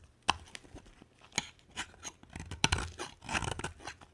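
A box cutter blade carves a solid, palm-sized white soap bar, making a series of short, dry crunching and scraping cuts. Each stroke has a crisp, bright edge and stops quickly with no ring. There are brief quiet gaps between the cuts.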